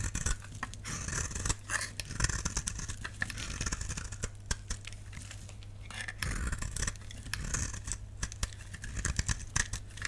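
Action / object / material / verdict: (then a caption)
scrape / bar soap carved with a knife blade / soap / none. A solid, dry lilac bar soap held in the palm is carved with a utility knife blade, and the scraping cuts shave off flakes. Dense, crisp, dry scrapes and crackles come in quick overlapping bursts over a steady low hum.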